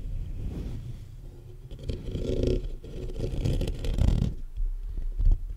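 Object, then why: Metal mesh microphone grille. Fingertips and short nails from both hands tap and scratch the hollow metal mesh grille of a black USB condenser microphone held upright, working in quick bursts. Close up, this comes through as deep, boomy thumps and muffled scratching rustles, dominated by low rumble with almost no bright content.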